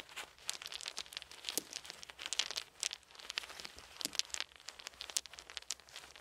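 Small round solid wooden beads are held in both cupped hands, and the fingers shift and rattle them, letting a few fall onto a soft blanket. The result is a dense run of bright, dry clicks and clacks with very short ring and no low end, rising and falling in irregular bursts.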